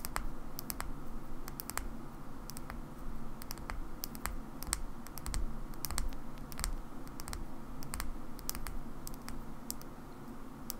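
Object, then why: Small plastic battery pack. A small black plastic Xbox battery pack, held in the fingers, is tapped and scratched with long nails. Light, sharp clicks fall in a quick, irregular stream with brief, bright ticks and almost no ring. A steady low rumble sits beneath them throughout.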